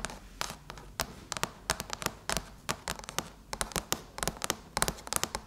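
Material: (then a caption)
Aluminum. Long chrome nails scratch and tap slowly across the closed lid of a silver aluminum MacBook. Sharp, bright clicks come in irregular clusters, separated by a faint scratchy hiss. Each tap dies away almost instantly.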